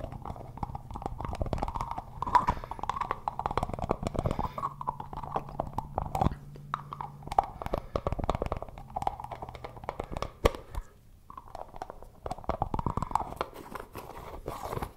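Fingertips repeatedly twist and tap the white plastic lid on a plastic Suavecito pomade tub. The result is a dense stream of quick, dry plastic clicks and scraping twists over a soft low rumble, with a brief lull near the eleven-second mark before the tapping resumes.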